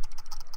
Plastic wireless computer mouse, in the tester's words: if i shake it it's a little bit of rattle from the scroll wheel